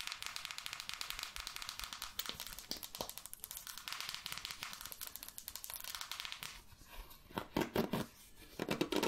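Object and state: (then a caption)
Plastic paddle hairbrush, bristles scratched. Long nails scratch and brush across the bristles of a red plastic paddle hairbrush with a cushioned bristle pad, held in one hand. A dense, bright, crackly scratching runs steadily for about six seconds, then drops quieter before a few louder, fuller brushing strokes near the end.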